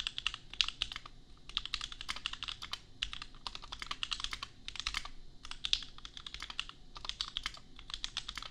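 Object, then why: Plastic mechanical keyboard. A custom $250 60% mechanical keyboard with Gateron Milky Yellow switches and red and white plastic keycaps, resting on an anime desk mat, is typed on with the bare fingertips of both hands. Bursts of fast, bright, crisp clacks come with brief pauses between them. Each keystroke is short and dry, with almost no ring.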